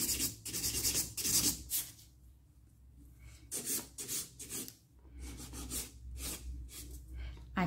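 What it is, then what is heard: Acrylic nail extension being filed. A nail file is rubbed back and forth against the surface of a solid stiletto acrylic or gel nail extension on one finger. About ten bright, raspy filing strokes come in uneven bursts, with a quieter pause in the middle, over a steady low hum.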